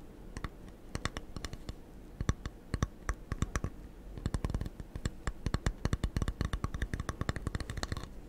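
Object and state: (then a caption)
Foam sponge tapped with fingertips. Fingertips scratch and tap a small rectangular blue foam sponge, solid and porous, held in one hand beside the microphone. Short, dry clicking taps come in irregular bursts, sparse at first and growing quicker and denser after the midpoint, each dying away almost instantly over a low, steady hum.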